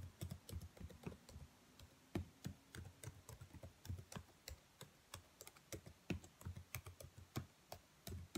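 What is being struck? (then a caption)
Plastic laptop keyboard keys. Fingertips and long nails tap and type on the black plastic keys of a laptop keyboard, making around thirty quick, separate keystrokes. Each one is a short, dry click with a soft low thump underneath and a faint bright tick on top, dying away almost instantly.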